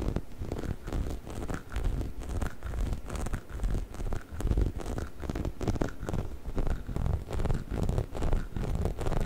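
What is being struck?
Hollow rubber chicken toy.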